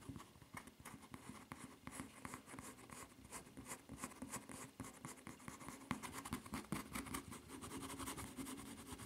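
Long nails scratch and rub across the surface of a white rubber flip-flop footbed with a red print and strap. The clip is a soft, dry, continuous scraping made of many quick, short strokes that come in irregular bursts, with a brief brighter scratch near the six-second mark. There is no ringing after the strokes.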